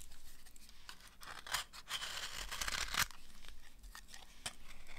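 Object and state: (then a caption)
Dry soap bar. A thin, solid, dry amber soap slab held in the hand is scraped and cut with a utility knife blade. Dry, crisp, bright scraping and shaving strokes with a crunchy, tearing texture rise and fall, peaking in a sharp snap of a cut near the middle.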